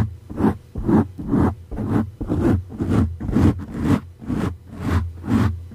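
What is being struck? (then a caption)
Foam microphone windscreen. Fingertips and nails of both hands scratch and rub a dark grey soft foam windscreen fitted over a condenser microphone. The result is a steady series of muffled, low-heavy scratching swishes, about two per second, each swelling and fading with a bright airy edge.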